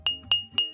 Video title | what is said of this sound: Summer - Water park | The less water I put in, the higher the sound.